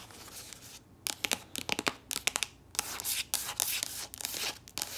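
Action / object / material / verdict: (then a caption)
scrape / soft plastic lotion tube / plastic / none. A soft plastic body lotion tube that appears full is scratched and tapped with long nails and squeezed in the hands. Bright, crinkly scratching alternates with quick, sharp taps in an irregular rhythm, with almost no low end.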